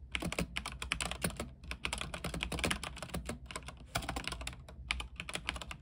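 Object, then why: Mechanical keyboard with plastic keycaps on a metal frame. A backlit mechanical keyboard with white plastic keycaps on an aluminium frame is typed on continuously with the fingertips. It produces a rapid, uneven stream of short, crisp clicks and clacks with a bright top and a soft low thud beneath. Each keystroke dies away almost instantly, with brief pauses between bursts.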